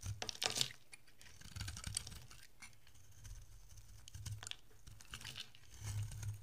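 A utility-knife blade shaves curls off a solid, dry orange oval bar of soap with a blue rim, held in the hand. Dry, crisp scraping and crumbly rasps come in short strokes, with bright, gritty texture over a soft low thump. The strokes are loudest near the start, then quieter scraping runs through the middle before a heavier pass at the end.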